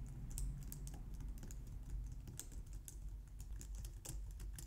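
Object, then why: Plastic computer keyboard. Long nails and fingertips type steadily on a compact, low-profile white plastic computer keyboard. Rapid, light, bright clicks and taps come one after another over a steady low rumble, all at a quiet level.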